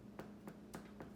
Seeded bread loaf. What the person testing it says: si un pain est cuit il faut taper derrière et si ça sonne creux